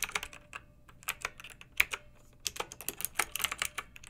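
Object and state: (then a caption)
Plastic mechanical keyboard. Fingertips with long nails type on a pink backlit plastic mechanical keyboard with round typewriter-style keycaps. A quick, uneven run of bright, crisp clicks and clacks centered around 2.4 kHz, with almost no low end, each dying away almost instantly. There is a short lull near the middle before the typing picks up again more densely.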